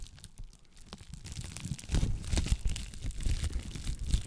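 Clear plastic bubble wrap held close to a microphone is crinkled and scratched with long nails. Soft, dense crackling starts quietly, then grows into louder, rapid crunchy scratches and crinkles with a heavy low rumble from the close contact.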